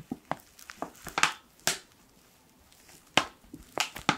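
A hand-sized black laminated foil and plastic ground-coffee pouch is squeezed and crinkled with fingertips. About ten short, sharp, bright crackles come at irregular intervals, with brief quiet gaps between bursts and almost no low end.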